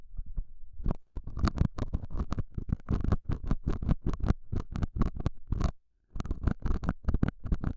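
A hooked metal dental scaler tip, held by fingers with long nails, scratches and pokes the surface of a small, square, beige felt pad fitted on a clip-on microphone. The result is a rapid run of muffled, low, thumping scratches, broken by short gaps near 1, 3 and 6 seconds.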